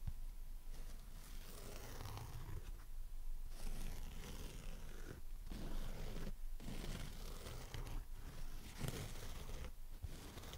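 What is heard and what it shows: A dry, porous, hand-sized pink foam sponge shaped like a strawberry with a green leaf top, lying on a red surface, is tapped and scratched with long nails and fingertips. The sound is a soft, muffled, low rumbling scrape with short breaks between strokes, and it dies away almost at once.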